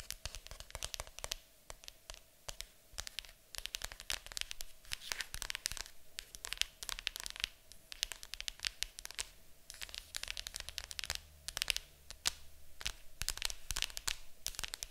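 Long acrylic nails tap and scratch the lid of a large, hollow, printed cardboard board game box. Rapid, dry clicks and scraping come in quick irregular bursts, bright and papery with a faint low hum beneath. Each tap dies away almost instantly.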